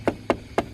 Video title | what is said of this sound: Cek Kualitas Body Honda PCX160 - #tmcblog | kalau di daerah yang bersentuhan dengan mounting mounting itu suara lebih lebih padet